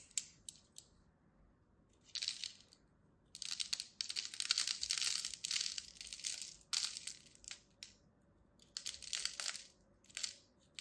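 A black-handled metal blade scores and cuts the surface of a palm-sized, solid purple and white striped bar of soap held with long red nails. Dry, bright scraping and crunching comes in irregular bursts, with a long dense stretch in the middle and quiet gaps between. Each short crackle stops abruptly, with no ring.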